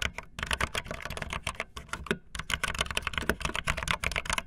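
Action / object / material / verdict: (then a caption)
tap / plastic keyboard keys / plastic / none. Fast typing with long fingernails on a backlit optical linear plastic mechanical keyboard with white and blue plastic keycaps. Rapid, bright clicky keystrokes with short decay run densely together over a low thump from the keys bottoming out.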